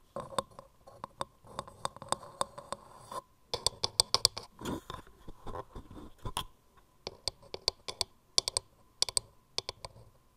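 Long painted nails tap and click rapidly on the grooved sides of a hollow, turned, palm-sized wooden mortar held close. The result is a stream of sharp, bright clicks with very little ring, mixed with brief scratchy scraping, arriving in quick bursts with short pauses between them.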